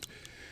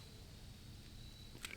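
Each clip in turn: First: loose pistol slide rattling on frame. Second: tight pistol slide, no rattle.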